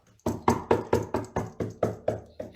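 Painted timber in a house, hollowed out by termites, is knocked along its side in a quick, even series of dull, hollow knocks with almost no ring. The knocks reveal the termite damage: the wood has been eaten out inside, leaving it paper-thin under the paint, so a finger pushes right through it.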